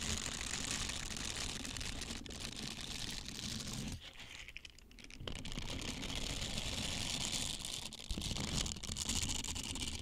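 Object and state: Silicone scrubber being rubbed.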